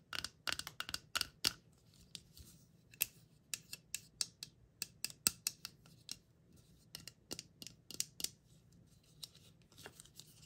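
A round, palm-sized, hollow teal-and-purple plastic Stitch mystery capsule with ear flaps and a printed shrink-wrap label, closed with its contents inside, is held in the hand and tapped and clicked with long acrylic nails. The result is an irregular series of sharp, bright, dry clicks that stop almost instantly, over a faint low hum.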